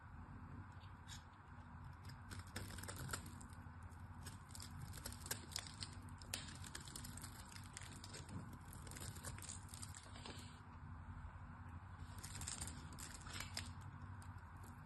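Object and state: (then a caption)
Glycerin soap bar being carved. A small craft knife carves and scrapes the textured surface of a hand-sized solid pink bar of hard glycerin soap, held in fingers with long orange nails, breaking it into crumbly flakes. Quiet, irregular crisp scratches and crackles with bright, high edges sit over a steady low rumble.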